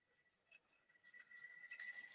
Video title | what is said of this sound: L8: Rotary to Linear Translation - Leadscrews and Ballscrews | hear that tinny sound to it?